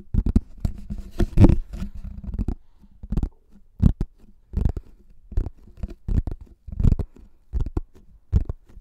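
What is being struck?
Plastic flying disc.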